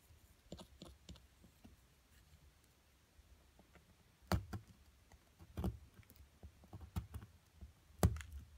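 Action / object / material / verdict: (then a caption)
scrape / plaster block scraped with a wooden stick / plaster / none. A wooden stick scratches and digs into the white plaster of a solid purple-coated amethyst crystal excavation block held down by a hand with long nails. Quiet, soft scraping is broken by sharp, dry clicks and low knocks, with the loudest taps near the middle and end. Each sound stops almost instantly, with no ring.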